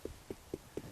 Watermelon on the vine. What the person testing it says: kind of sounds like a hollow of watermelon you know beat on your stomach